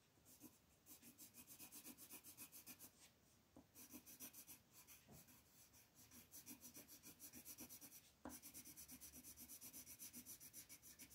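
A dark green wooden colored pencil shades a leaf on a flat printed paper coloring sheet lying on a table, in repeated short rubbing strokes of the pencil tip. About 31 quick, soft, scratchy strokes come in a fast, uneven rhythm, each a bright papery hiss over a faint low body. There is a brief pause near the three-second mark and a slightly sharper tap just after eight seconds.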